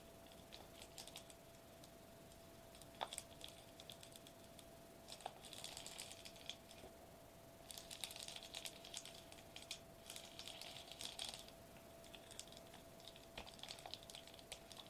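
Fast fingertip and nail tapping with both hands on a flat silver metallized plastic bubble wrap sheet lying on a white table. The result is quiet, bright, crinkly clicking that comes in dense bursts with brief pauses, over a faint steady mid tone.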